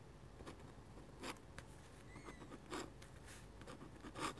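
A metal-nib dip pen scratches short vertical strokes across a flat white drawing paper sheet, making six quiet, dry, bright scratches at an uneven pace. A faint thin squeak rises briefly between the strokes.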